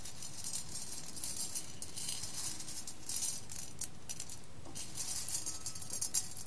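Fingers with long red nails pick up and stir roasted coffee beans in a clear glass bowl, close up. The beans give a continuous, bright, crisp rattle of clicks against the glass over a low, quiet rumble, with brief louder bursts as handfuls shift.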